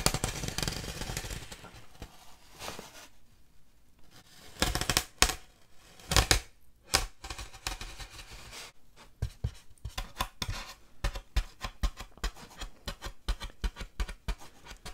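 Long dark-painted nails scratch and tap the surface of a large, flat, white styrofoam (polystyrene foam) packing slab, which is solid and lightweight and held upright at an angle in front of the mic. Close, dry scratching and squeaky rubbing with a bright hiss fill the opening seconds, followed by louder bursts of scraping. The clip ends with a steady run of short, crisp taps.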